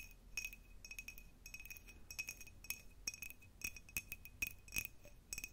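An empty, hollow clear cut-glass jar with a diamond pattern is tapped and scratched with the long nails of both hands. Quick, bright clinks and light scratchy rattles come in uneven clusters, each with a short glassy ring around 2.5 kHz that dies almost at once. The sound stays quiet and thin, with little low end.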